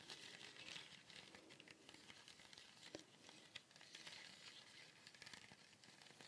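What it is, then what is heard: Woven basket shaker. A small, colourful woven fibre cone shaker with a wooden base is held close and shaken and tilted so the filling inside rustles. The result is a quiet, steady, bright crinkling hiss with little low end, dotted with a few sharper clicks.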